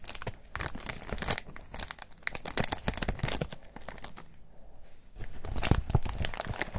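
A thin, white, textured foam wrap sheet folded around a hidden item is squeezed and crinkled with the fingertips of both hands. Dense, crisp crinkling and crackling bursts run through the clip, dip to a quieter patch around the fourth to fifth second, then swell louder again toward the end.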